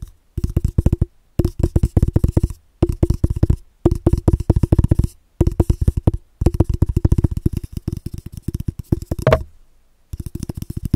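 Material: Cardboard.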